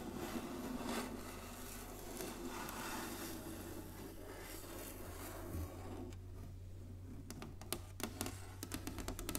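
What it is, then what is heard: Wooden chessboard. Long nails slowly scratch and rub across an inlaid wooden chessboard resting on a table, giving a soft, continuous rasping texture over a steady low hum. Toward the end the scratching gives way to a few sharp, bright taps.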